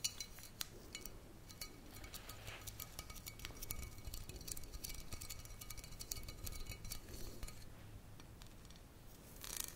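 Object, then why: Glass bottle with metal screw cap. Fingernails tap the red metal cap and the glass of a tall glass bottle full of tomato passata with a paper label. Quick, light, bright clicks and ticks come in an uneven stream, each dying away almost at once, over a steady low hum.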